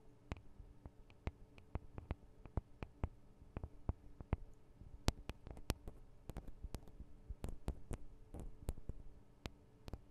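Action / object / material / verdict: tap / metal microphone capsules tapped with long fingernails / metal / none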